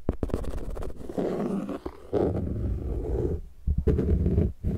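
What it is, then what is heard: Plastic frisbee disc tapped and scratched. A thin, translucent plastic frisbee disc is held upright close to the microphone while fingertips tap and scratch its flat surface. Sharp taps alternate with stretches of low, boomy, rumbling scratching. The close miking makes the disc sound deep and heavy.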